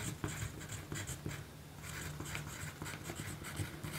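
A yellow graphite pencil writes on a small pink paper note sheet resting on a dark table, with a magazine in a plastic sleeve lying untouched beside it. Quiet, steady scratchy pencil strokes give a bright, papery hiss with faint taps over a low, constant hum.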